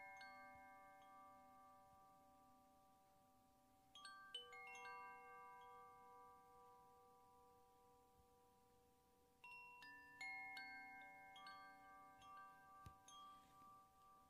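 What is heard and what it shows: A hollow bamboo koshi wind chime, a tube about 15 cm long, dangles from a cord held in the fingers and is gently shaken so the chime rods inside ring. Soft, bright, bell-like tones overlap and sustain, with a fresh cluster of strikes around four seconds and again near nine and a half seconds. Each cluster leaves a long shimmering ring that slowly fades between them.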